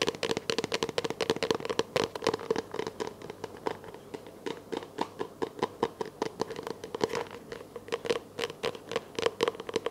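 Long nails tap and scratch a small, hollow, empty clear plastic container held close to the camera. The result is a rapid, uneven run of dry clicks and taps, each ringing a hollow plastic note around 440 Hz, with bright scratchy crackle between them. Every tap dies away almost instantly.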